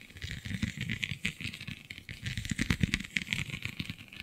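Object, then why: Textured vinyl sheet. Long nails scratch across the raised scale-like bumps of a flexible, iridescent holographic vinyl (plastic) sheet. The result is a dense, crackling, rattly scratching with soft low thumps under a bright, papery hiss. It keeps up a quick, uneven rhythm for about four seconds.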